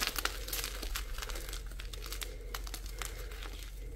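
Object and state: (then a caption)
Gym chalk block being crushed. Small solid white gym chalk blocks of magnesium carbonate, lightly tinted green, are squeezed and crumbled between the fingers and palms of both bare hands over a pile of chalk chunks and powder. The result is a dense run of dry, bright crinkling and crackling crunches over a steady low hum.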